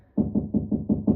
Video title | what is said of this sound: How to put up a towel loop | there's probably no insulation inside because it sounds quite hollow